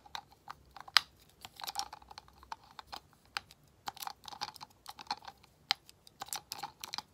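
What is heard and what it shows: Long nails tap and scratch a medium frosted glass skincare essence bottle with a dark cap, hollow with liquid inside, touching both the glass and the cap. Quick, bright clicks and ticks come in irregular clusters with a faint scraping between them, each one dying away almost instantly.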